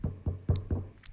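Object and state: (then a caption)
Hollow-sounding, fully baked bread loaf. Four low, hollow knocks sound on the bottom of a bread loaf baked in a cast iron skillet, each a short, dull thump near 90 Hz, followed by a faint, higher tap. The hollow sound shows the loaf is baked through and done.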